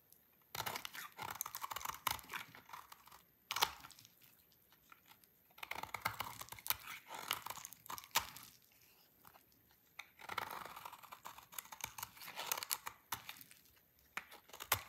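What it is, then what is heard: Dry laundry soap bar being shaved. A solid, dry orange laundry soap bar is shaved with a utility knife blade, its curls falling onto a pile. Bursts of crisp, dry scraping and crackling, bright with almost no low end, come in several runs separated by short quiet pauses.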